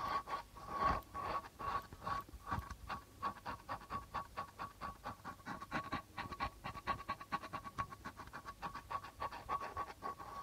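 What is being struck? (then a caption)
Hand drum with plastic membrane. Fingertips and nails scratch and tap near the rim of the white plastic membrane on a hollow, hand-held darbuka with a reddish lacquered body. Quick, uneven taps and scratchy strokes keep coming at about two per second, with a faint, steady ring near 1.1 kHz beneath them. The sound stays quiet throughout.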